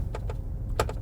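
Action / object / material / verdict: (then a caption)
tap / car interior armrest / unknown / loose. Four light taps on the interior armrest of a moving Cadillac Celestiq make short, bright rattling clicks over a steady low rumble. The armrest rattles loose, a small annoyance that stands out because the cabin is otherwise so quiet.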